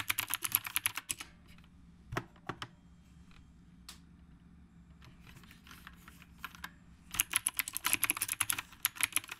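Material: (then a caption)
Plastic. Both hands type with their fingertips on the round plastic keycaps of a retro typewriter-style mechanical keyboard. Quick bursts of crisp, bright clacking open and close the clip, with a few scattered single keystrokes in between. A faint low hum sits underneath throughout.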